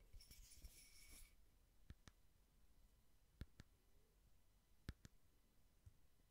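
A small cylindrical frosted glass votive candle holder with a candle inside, held sideways, is tapped slowly with fingertips and nails. Sparse, quiet, short glassy clicks and ticks die away almost instantly, often in close pairs. A faint bright shimmer over the first second gives way to a low, soft background.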